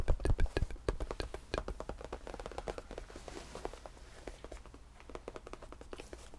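Fingertips tap rapidly on a cream faux leather tufted bench with a padded top, and flat hands rub across the surface. The taps are dull, low, short thuds with almost no ring, strongest at the start and softer and more scattered later, mixed with a faint brushing hiss.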